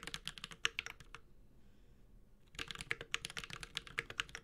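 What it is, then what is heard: Mechanical keyboard typing. A Space65 Cybervoyager 65% mechanical keyboard with Holy Panda switches, an aluminum case and plastic keycaps is typed with the fingertips of both hands. About 24 short, bright, crisp key taps are heard, in a burst, a pause of just over a second, and then another burst, each tap dying away almost instantly.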